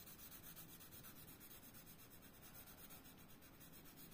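A hand rubs a blue colored pencil across a thin paper coloring book page lying flat on a desk, shading Donald Duck's hat with the tip kept on the paper. The result is a quiet, steady, scratchy rubbing that runs without break, with a bright papery hiss over a low hum.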